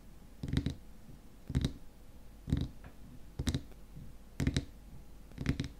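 Fingernails tap rapidly on the top of a frosted white plastic lid on a small glass cream jar filled with cream. The taps come in six quick bursts about a second apart, each a short cluster of dull, low clicks with faint bright ticks. Every tap dies away almost at once.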